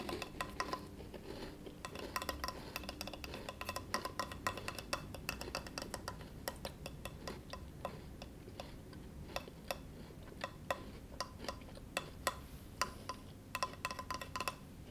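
A flat, solid, rectangular bamboo cutting board, resting on a lap and held at the edge by one hand, is tapped on its surface with the short-nailed fingertips of the other hand. It produces a steady stream of quick, dry, bright clicks with a faint tone around 1 kHz, each dying away almost instantly, over a low, soft background rumble.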